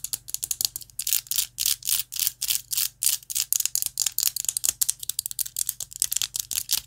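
Long nails tap and scratch a rainbow-anodized metal vape mod with a glass tank, producing a rapid run of dry, bright clicks and short scratchy strokes. The sound is thin and crisp with no low end, and each touch stops almost instantly.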